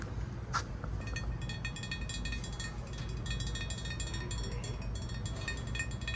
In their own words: 39:11 tapping on glass